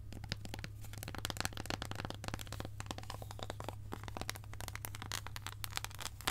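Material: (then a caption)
Chocolate. Long acrylic nails tap and scratch a long, embossed, solid dark chocolate bar held in the hand. Rapid sharp clicks and dry scratching run throughout, with a steady low hum underneath.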